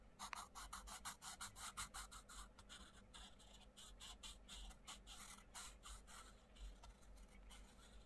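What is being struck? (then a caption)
Wooden coloured pencil on a paper colouring book page. A wooden coloured pencil scratches across a page of an open paperback colouring book with butterfly outlines, while the other hand flattens the pages. Quick, bright, papery strokes rasp back and forth in a steady rhythm, loosening toward the end, over a faint low hum.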